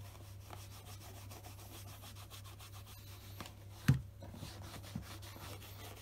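A black polished Scotch Grain leather wingtip shoe, held on a desk mat, is buffed with a beige stocking cloth wrapped over the fingers. Fabric rubs steadily and softly over the glossy leather, a quiet low-heavy sound with a faint high hiss. Near the four-second mark there is a brief louder bump, then a smaller one a second later.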